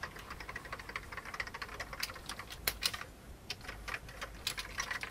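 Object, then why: Plastic computer keyboard. Fingertips type steadily on an old beige full-size plastic computer keyboard with hollow keycaps. The key taps are quick, light and bright, with clicky, hollow-sounding strikes, little low end and almost no ring. A few louder taps stand out, and there is a brief lull partway through.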